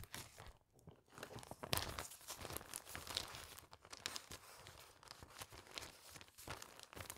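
A single clear plastic sheet protector holding a newspaper clipping is pulled out of a binder and held up in both hands while fingertips with long nails flex and crinkle the thin, flat plastic sleeve. The result is a dense run of bright, crackling crinkles and sharp snaps that rise and fall over about seven seconds, with a brief quiet pause near the start.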